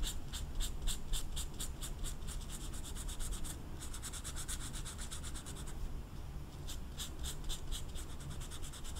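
A brown felt-tip marker is rubbed back and forth over a small, flat velvet-flocked paper poster card while coloring, with the card held still by the other hand. Quick, bright, dry scratching strokes repeat in bursts over a steady low rumble, pausing briefly around the middle before resuming.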